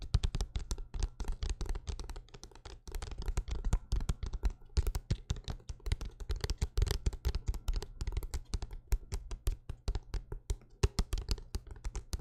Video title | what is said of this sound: ASMR LIVE Tingles - ASMR Soldier | the book tapping to me sounds almost like thick rain falling on a windowsill or on a metal roof